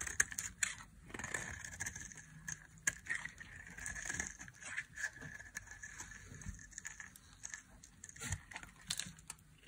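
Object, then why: Olive oil soap bar. A solid, dry olive-green bar of olive-oil Kernseife soap is held in the hand and shaved with a small metal blade. It gives a steady run of short, crisp scraping and crackling cuts with a bright, high edge. The soap crumbles away into dry flakes.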